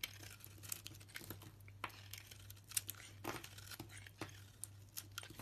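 A small blade shaves flakes off a solid soap bar with a pale yellow core and green rind. Quiet, crisp scraping and crackling ticks sound in an uneven series, bright and sharp with almost no ring. A steady low hum runs underneath.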